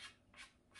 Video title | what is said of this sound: Tip Maintenance How to re tip your cue (Pool sport) Cue sports coaching | can hear a nice crisp sound